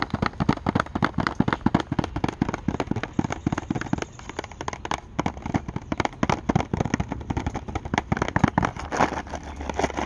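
Paperclips worn on the fingernails rapidly tap and scratch a small, thin, closed Sour Patch Kids cardboard candy box held up against the sky outdoors. The clicks are fast, dry and densely packed with almost no ring, over a steady patter of rain in the background.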